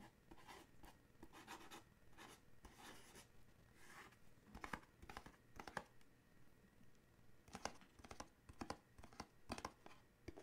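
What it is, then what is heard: Paperboard gift box tapped and scratched. A small paperboard coffee mug gift box is held in the hands and turned while fingernails tap and scratch its sides. Soft, dry scratching and rustling is broken by quick, sharp taps that die away almost at once, all at a quiet level.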